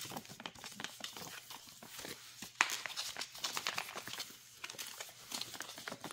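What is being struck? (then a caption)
Filled plastic soup-mix pouch. Long nails quickly tap and scratch the front and bottom gusset of a filled, printed flexible pouch of dry soup mix. The result is a dense stream of bright, crinkly clicks and rasping scrapes with almost no low end, with one sharper, louder tap near the middle.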